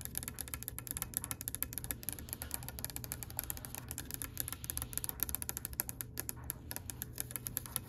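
Long nails and fingertips tap rapidly on the top and edge of a solid oak-grain wooden table, making a dense stream of short, bright, dry clicks that die away almost instantly. A steady low hum runs underneath the tapping throughout.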